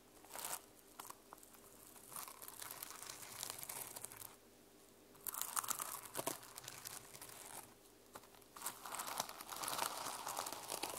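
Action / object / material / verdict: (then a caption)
scrape / plastic sequins on a fabric journal cover / plastic / none. Long lilac nails and fingertips scratch and brush the teal and silver reversible plastic sequins on fabric covering a small hardcover journal lying on a wooden table. Dense, bright crinkling and scratchy rustling comes in uneven bursts, with a few sharper clicks and two short quieter pauses between strokes.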